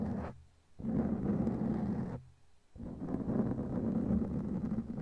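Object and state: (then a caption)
Foam microphone cover being scratched. Long glittery claw nails scratch a black foam windscreen on a microphone, producing a dense, muffled, crackling rumble that sits low with almost nothing bright. It comes in three stretches of rough scratching separated by two brief near-silent pauses.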